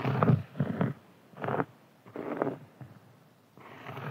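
Fingernails and fingertips of both hands scratch a large, round, flat, solid cork board resting on a table. The result is a series of short, rough, low-pitched scratching strokes separated by brief quiet gaps, with most of the energy in the lows and little brightness.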